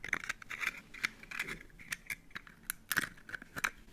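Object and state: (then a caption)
Broken eggshell being crunched. An empty, hollow, broken brown hen's eggshell is held in the fingers close up while fingertips and nails crunch and peel away small shell fragments. The result is a quiet run of sharp, brittle crackles and clicks, bright and dry with almost no low end and no ring. Faint scratchy scraping fills the gaps between them.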